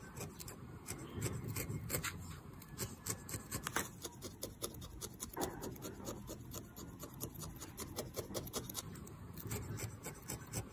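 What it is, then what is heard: Needle-felted wool figure. A small, solid felted wool figure in yellow, orange and lavender is held in the hand and jabbed repeatedly with a metal felting needle. Each jab makes a soft, scratchy, rasping poke with a brief bright tick, over a steady low, muffled rustle. The pokes come in a quick, uneven rhythm that runs throughout.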